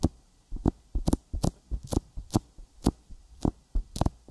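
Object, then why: Silicone binaural microphone ear with petroleum jelly. Fingertips tap on a silicone binaural microphone ear coated with petroleum jelly, giving an irregular series of soft, low, muffled thumps. The stronger taps carry a brief bright, sticky click. Each tap dies away almost instantly, with quiet moments between them.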